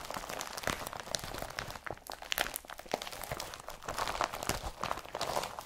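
An empty blue IKEA BRATTBY carrier bag made of woven polypropylene is rubbed with the palm, then scrunched and twisted in both hands. It gives a continuous stream of dry, bright crinkling and crunching rustles with sharp little crackles and almost no low end. Each crackle stops instantly, with no ring.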